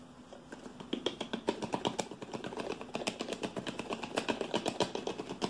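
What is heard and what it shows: A hollow, hand-sized green plastic shampoo bottle that appears partly filled is tapped and gripped with fingertips and nails. It makes a fast, uneven run of dull, hollow clicks and taps centered around 390 Hz, with bright nail ticks and faint scraping. Each tap dies out almost at once and grows more insistent after the first second.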